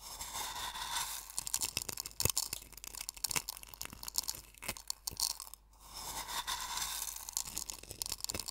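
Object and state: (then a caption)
Coarse sea salt crunching in a wooden bowl. Fingertips and nails pinch and rub coarse sea salt crystals in a small wooden bowl partly filled with salt. Dense, bright crunching and gritty scraping run throughout, with many sharp crackling grains and scattered louder snaps. The sound briefly drops almost silent partway through before the rubbing resumes.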